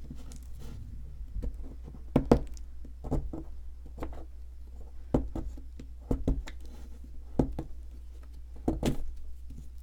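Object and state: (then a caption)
Plaster excavation block being chipped. A solid white ridged plaster excavation block is held in one hand while a metal pick with a wooden handle scratches and chips into its surface, exposing an embedded item. Short, dry scraping and chipping clicks are heard over a steady low hum, with several sharper, brighter strikes standing out.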